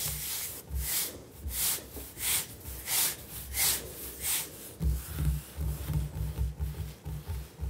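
Fingertips of both hands rub and tap the surface of a large, solid, speckled granite-look kitchen countertop. The first half has soft, airy rubbing swishes in a loose rhythm. After that, quicker low, dull taps with short bright edges take over and fade almost at once.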